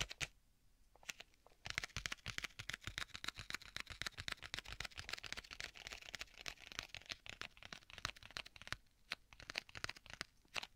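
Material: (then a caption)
Leather. A flat black stitched leather tablet folio case with a strap closure, held upright, is tapped and scratched by fingertips. The result is a dense run of quiet, dry taps and bright scratchy rustles with almost no ring, busiest through the middle and sparser at the start and end.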